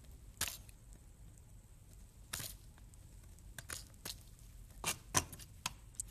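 A metal kitchen knife slices and chops small cubes off a solid green bar of soap held in the hand, with crumbs falling. Crisp, bright crackling cuts come in short separate bursts, each dying away almost at once, over a quiet background.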